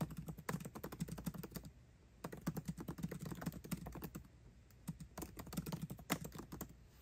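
Fingertips type quickly on a MacBook Pro keyboard with plastic keycaps set in an aluminum body beside the trackpad. Dense bursts of short, dry key clicks come with a low thump around 170 Hz and bright tick edges that die away almost instantly. The typing pauses briefly twice, near 2 and 4.5 seconds, before resuming.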